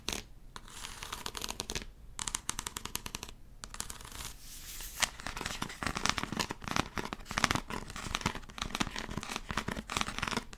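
Long acrylic nails tap and scratch a tall, hollow, white plastic talcum powder bottle with a blue cap. Rapid, bright, clicky taps blend into dry scratching bursts, with a faint hollow tone around 1.1 kHz. Brief pauses fall near the start, at about 2 seconds and at about 3.5 seconds, before a denser run of taps carries on to the end.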